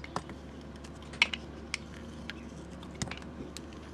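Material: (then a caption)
Soap. A metal utility blade shaves curls off the side of a solid rectangular bar of white soap, painted black on top with a moon design and held in the hand. Nine short, dry scraping ticks sound over a quiet hiss, bright and crisp around 2.2 kHz, with almost no ring after each cut.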